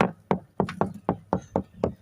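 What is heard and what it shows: Knocking on the fiberglass deck of a 1987 sailboat to check its core, with about ten short, dull, evenly spaced knocks that die away quickly. The deck sounds hollow at this spot, suggesting a delaminated core.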